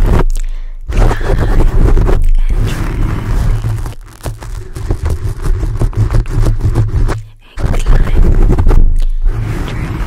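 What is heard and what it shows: Fingertips of both hands scratch and pinch the top of a black foam microphone windscreen. The result is a deep, heavy, crunchy rumble with rapid, irregular scraping bursts, easing briefly twice before surging back loud.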